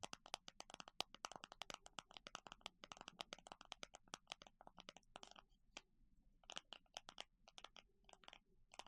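A plastic container of small circular plastic clasps is tapped in a rapid, uneven run of sharp, dry clicks. The sound is bright with very little low end, and each tap stops instantly with no ring. The tapping thins out briefly around the middle before picking up again in quick bursts.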